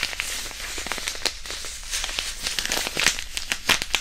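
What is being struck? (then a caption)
Fabric hand-warmer pouch with iron powder. A small white printed disposable hand warmer, a non-woven fabric pouch filled with iron powder, is held in both hands and crinkled and squeezed close to the mic. It makes a steady, dense crinkling rustle of bright, dry crackles with sharper snaps scattered throughout. There is little low end, and each snap dies away almost instantly.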